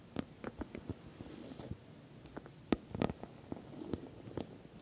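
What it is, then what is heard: Filled patent vinyl cosmetic bag. Long nails tap the top and sides of a glossy orange patent vinyl cosmetic bag, soft-sided and filled. The result is a quiet series of short, dull taps with a low-mid body, some landing as sharper clicks.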